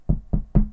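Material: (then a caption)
Wood. Three short knocks on a wooden table, made for luck, each a dull, low thud that dies away almost at once. A faint low hum sits beneath them, and the third knock is the loudest.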